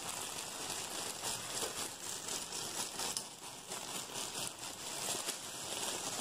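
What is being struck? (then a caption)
Pack of disposable face masks in a plastic bag. A hand-sized, soft, packed-full stack of blue disposable face masks sealed in a clear plastic bag is squeezed and crinkled fast by both hands with the fingertips. The result is a continuous, bright, crackly plastic crinkling that stays mostly in the high range with very little low end, its loudness surging and dipping without pause across the clip.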